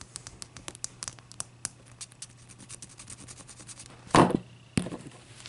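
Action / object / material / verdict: tap / large block of ice / ice / none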